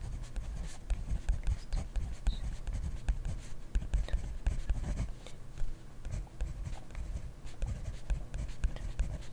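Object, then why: Plastic pen on paper notebook. A hand writes steadily with a plastic-bodied pen in an open grid-ruled paper notebook resting on a desk. The pen tip scratches across the paper in a continuous run of quick, soft strokes and taps, heavy in low rumble with faint bright scratchy streaks above. The writing keeps an even, unbroken rhythm throughout.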